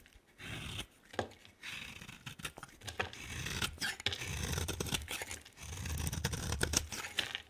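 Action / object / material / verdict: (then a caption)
scrape / bar of soap / soap / none. A utility knife blade shaves a hand-sized, solid green bar of soap with a yellow rim into flakes. Repeated crisp, bright scraping strokes and sharp little snaps come in quick bursts over a soft low rumble, with brief quiet gaps between passes.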